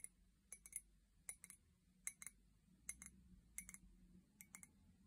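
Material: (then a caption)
Ceramic. Long painted nails tap an empty, hollow white ceramic mug with a pink handle, held by its handle. About fourteen short, bright clicks and clinks fall in loose, irregular clusters over a quiet low hum. Each tap fades almost instantly.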